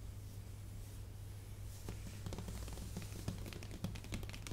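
Long painted nails tap and scratch a large, flat, white cardboard shipping box for a new Mac Pro 13, closed with its contents still inside. Quiet, bright clicks and scrapes start faint and grow into sharper, dry taps over a steady low hum.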